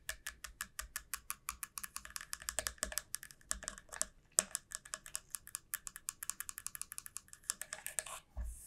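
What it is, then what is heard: Dried gourd shell. Long nails tap rapidly along the hollow, hard shell of a long, club-shaped dried gourd, making a steady run of crisp, bright clicks with almost no ring. A sharper, louder knock stands out about halfway through, and the clip ends with a duller, low thump.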